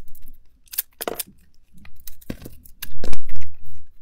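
A metal blade scrapes and shaves chunks off the edges of a hand-sized solid green soap bar with a remaining magenta glitter coating, held in the palm. Short, bright, crunchy scraping bursts come in quick succession. A steady low hum rises beneath the last second.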